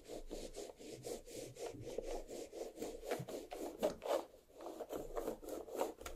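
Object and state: Watermelon rind scratched with fingernails.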